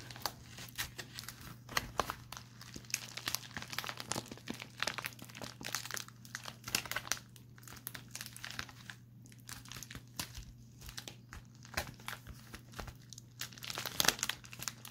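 A pink metallic foil padded bubble envelope, thin and hollow, is held in both hands and crinkled and squeezed with the fingertips. It makes a steady run of bright, crackling crinkles with many short, sharp pops and no ring. A low, constant hum sits underneath.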